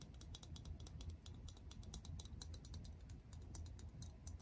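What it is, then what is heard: Plastic toner bottle. Long press-on acrylic nails tap rapidly on a medium translucent frosted plastic toner bottle with a pink cap and white label, partly full of liquid. The result is a quiet stream of short, dry, bright clicks with almost no ring, over a low background rumble.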